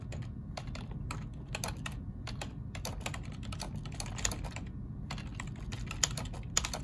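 Both hands type with their fingertips on a black plastic ergonomic keyboard. Quick, irregular key clicks are short and bright over a steady low hum, with a few sharper, louder strikes near the end.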